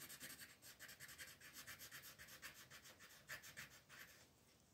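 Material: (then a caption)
Paper. A pink colored pencil is rubbed back and forth over a flat sheet of white paper printed with a floral design, shading in the petals while the other hand, with long nails, steadies the sheet. About fifteen quick, uneven, dry scratchy strokes sound softly over nearly five seconds. Each has a bright, papery hiss centered near 1.8 kHz, with almost no low end.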